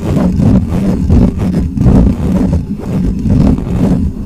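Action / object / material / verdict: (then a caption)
scrape / metal mesh microphone grille / metal mesh / none. Fingertips of one hand scratch the top of a black microphone's bare, hollow metal mesh grille. The result is a dense, muffled rumbling scrape dominated by low frequencies, with irregular swells and almost no high end.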